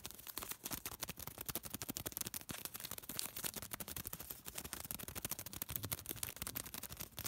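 A small folded piece of thin white paper is crinkled, pinched and rubbed between fingertips. It gives a dense run of quick, bright crackles and rustles that crowd together with no clear gaps and no ring after each one.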